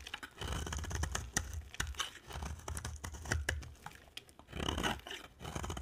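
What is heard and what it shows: A utility knife blade scrapes shavings off a solid white and red-orange dry soap bar held in the hand, with repeated strokes. Each stroke makes a dry, crisp scraping with sharp ticks and bright crackles over a soft low rumble. The sound swells and fades in uneven bursts as the shavings come away.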